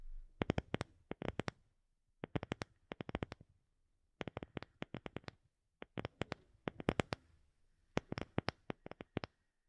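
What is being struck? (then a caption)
Round wooden disc. Long fingernails tap and scratch a palm-sized, round, light-colored wooden disc that looks solid. Quick, dry, clicky taps come in rapid bursts with short silent pauses between them, and a faint scratchy rustle sits underneath.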